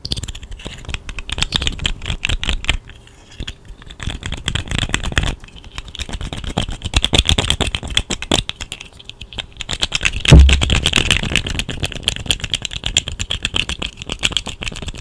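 A small, hollow, segmented plastic slug fidget toy in pink, orange and yellow is held in both hands near the mic and flexed and shaken, with long nails touching it. Its segments give dense, rapid clicking and rattling across a low, bright spread. The sound swells to a louder burst with a thump around the tenth second.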